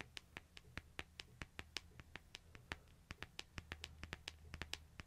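Fingernails tap and scratch quickly on the glass face and light metal edge of a small, flat, solid smartphone held in one hand. They make 28 sharp, bright ticks that die away almost instantly, over a faint low steady hum.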